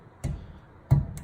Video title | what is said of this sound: Skillard's Datsun S30 Rear Window Louver Installation | What you hear is my finger actually tapping on the aluminum, but you don't hear the rattling you can get from louvers.